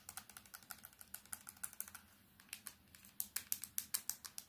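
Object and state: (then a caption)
Plastic keypad mobile phone. A small plastic candybar mobile phone is tapped fast with long nails, first on its keypad and screen, then on its black plastic back. About 29 short, sharp, bright clicks come in quick, uneven bursts with a brief lull midway. The taps on the back come through louder and crisper.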